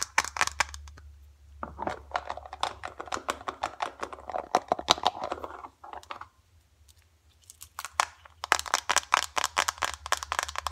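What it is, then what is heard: Filled foil face mask sachet. Long dark acrylic nails and fingertips tap fast on and squeeze a small, flat, filled green foil-laminate face mask sachet, producing rapid sharp clicks mixed with crisp crinkling. The tapping runs in dense bursts, drops to near silence for a moment around the middle, then picks back up in quick, bright clicks to the end.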